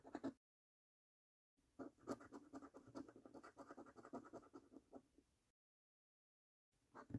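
A coin held in the fingertips scratches the scratch-off coating over the numbers and games of a thin paper £1 Million Snack Stack lottery scratch card lying on a dark table. A short burst of rapid, dry rasping scrapes is followed by silence, then a longer run of quick, gritty strokes, more silence, and another brief flurry of scraping at the end.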